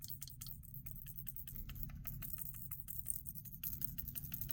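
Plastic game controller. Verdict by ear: Loose.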